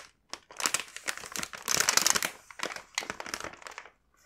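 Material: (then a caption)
Plastic. A full, large printed plastic bag of kinako mochi rice crackers is handled and rubbed with fingertips, giving bright, dry crinkling in quick bursts. The rustling swells to its densest in the middle, then breaks into shorter crinkles and goes quiet near the end.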